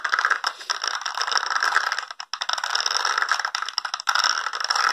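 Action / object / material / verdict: scrape / small plastic spiky brush / plastic / none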